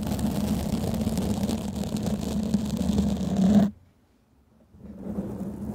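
A black foam microphone windscreen is gripped and scratched with the long painted nails of both hands, giving a dense, muffled scratching rumble heavy in the low end. The scratching stops abruptly after about three and a half seconds, falls to near silence, then resumes more softly near the end.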